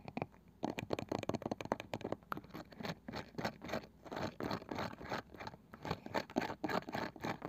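Long nails tap and scratch the light wooden lid of a small round wooden box with a woven cane side that seems hollow. A steady run of dry, rapid scratching and tapping bursts is heard, mostly midrange with little low or high content and almost no ring.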